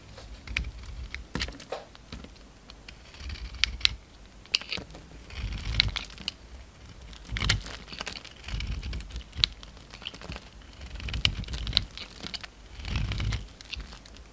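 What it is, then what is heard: Bar soap being shaved. A utility knife blade scrapes across a hand-sized solid cream soap bar with a brown glitter coating, shaving it into curls. Short bursts of bright, crackly scraping and sharp clicks come in repeated strokes, with soft low thuds underneath and quiet pauses between them.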